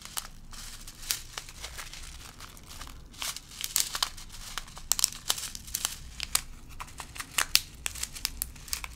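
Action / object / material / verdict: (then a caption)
shake / plastic zip-lock bag of small plastic beads / plastic / none. A small clear plastic zip-lock bag, full of small round colorful plastic beads, is held and pressed by fingertips with long glittery pink nails. The bag crinkles and the beads shift inside in a dense run of sharp, bright clicks and rustles over a faint low hum.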